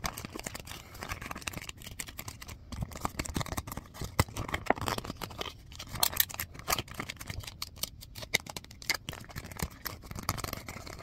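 A few sheets of white printer paper are held in the hand and rubbed, scratched and flicked with the fingertips and fingernails. The result is a steady, dry crackle of rustling and scratching, broken by many sharp, quick snaps that fade almost instantly and carry a bright, papery hiss over a faint low rumble.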